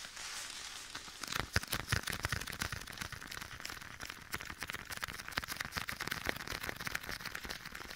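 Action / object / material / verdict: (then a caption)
tap / leather glove on a hand / leather / none. Bare fingertips repeatedly tap a soft, hollow black leather glove worn on one hand and held beside the right ear of a binaural microphone, with an echo effect applied. After a quiet, hissy first second, a rapid, uneven stream of short taps and crinkly leather rustles begins, bright but with a soft, hollow body. Each tap dies away almost instantly.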